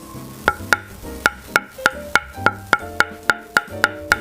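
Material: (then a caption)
Wood, carbon. A Harimoto Innerforce Super ALC table tennis blade, with five wood plies and two inner carbon layers, is knocked 13 times in a steady series of short, dry wooden knocks with a pitched tone near 1.4 kHz and almost no ring, over faint background music. The knock sounds a bit duller than outer-carbon ALC blades because the carbon layers sit inward, beneath two outer wood plies.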